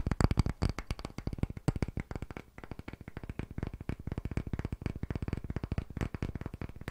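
Fingertips tap rapidly on a palm-sized, solid round block of light, pale wood held in both hands close to the microphone. The result is a fast, continuous stream of short, dull, low knocks with almost no ring. The tapping briefly softens in the middle before picking up again.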